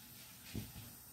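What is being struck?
Nothing is struck.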